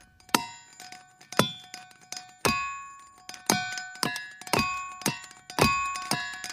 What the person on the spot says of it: you hit it with these hammers and it sounds like a chime or a glockenspiel